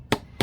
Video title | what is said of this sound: How to Make A Breeze Block | It changed. That means it's coming loose.